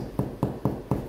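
A sourdough loaf, taken out after 30 to 40 minutes in the oven, is tapped on its bottom four times to check if it is done. Each tap gives a short, low, hollow, drum-like thump with little ring. The hollow sound shows the loaf is baked through and ready.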